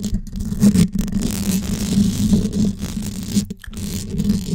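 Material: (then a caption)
Metal mesh. Long yellow acrylic nails tap and scratch the hollow, dome-shaped metal wire-mesh grille of a gold Blue Yeti USB microphone held in both hands. The result is a dense, continuous rasping scratch with quick taps, heavy in low rumble, broken by a few brief gaps.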